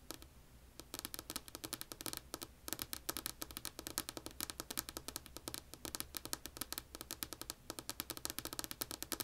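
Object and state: Wooden tabletop tapped with fingernails.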